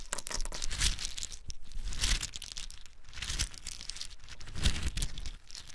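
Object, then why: Whole pine nuts in the shell. Small, hard-shelled whole pine nuts, still in their shells, are cupped in bare hands and poured onto a pile on a dark surface. The clip is a continuous rattling, crunching clatter of many shells tumbling together, with bright, crisp ticks over a low, rumbling body. The sound swells in several louder pours across the clip.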